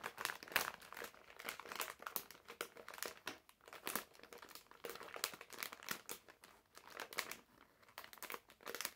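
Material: Plastic film.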